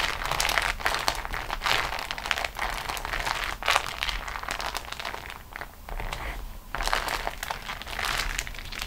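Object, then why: Beeswax-coated cotton wrap sheet. A beeswax-coated cotton food wrap sheet is rolled up on a table while fingertips and long nails press and roll it. This gives a steady stream of sticky, bright crinkling and crackling with quick snaps, holding a fairly even level with brief dips throughout.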